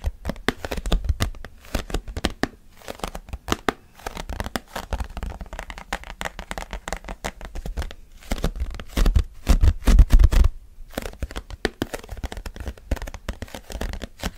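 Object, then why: Plastic tub lid. Flat fingertips and short nails rapidly tap and grip the surface of a large octagonal purple plastic Quality Street tub lid with a ribbed rim. The result is a fast, irregular stream of dull, short-ringing taps mixed with crinkly scratching and gripping noises. There are brief pauses near 2.5 and 8 seconds and a louder flurry around 9 to 10.5 seconds.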